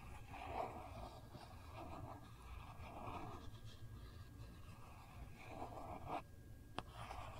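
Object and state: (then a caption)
Plastic phone case. A long fingernail slowly traces and scratches the gold foil print on a phone's hard plastic case while the phone is held flat. Quiet, soft scraping swells and fades in repeated strokes, and a single sharp tick sounds near the end.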